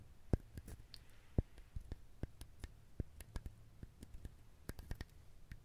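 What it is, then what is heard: Dried husked coconut. A whole, dried, husked fibrous coconut is held close to the microphone and scratched and tapped with fingernails and fingertips. An irregular series of quiet, dull, low taps and clicks stops short with no ring, over soft scratchy rustling from the fibers.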